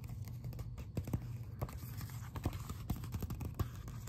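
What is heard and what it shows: Fingertips and nails scratch and tap the glossy front cover of a closed Biblical Archaeology Review magazine held in both hands. Soft, low, dull taps fall irregularly over a quiet bed of scratching, each dying away almost at once.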